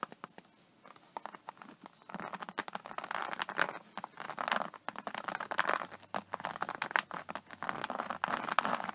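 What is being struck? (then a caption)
Embossed faux-leather vinyl tablet case. Long nails tap and scratch the textured cover of an iridescent, embossed faux snakeskin vinyl iPad case resting on a table. Quick, dry clicks mix with crinkly, scratchy rustling that sits mostly in the midrange with some bright edge. The tapping comes in dense, uneven bursts that grow busier after the first couple of seconds, with almost no ring after each hit.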